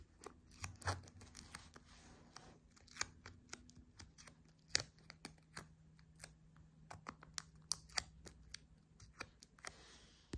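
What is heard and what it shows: A whole red apple, held on a table, is tapped and scratched with long painted nails. About 22 quiet, bright, dry clicks sound with no ring, scattered irregularly between soft scratching, over a faint low steady hum.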